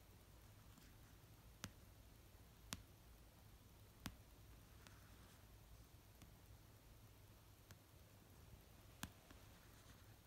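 Fingernails tap slowly on the cover of an orange paperback novel resting on a fluffy blanket. Sharp, dry clicks with almost no ring come at widely spaced intervals, some louder and some faint. A quiet, steady low hum continues underneath.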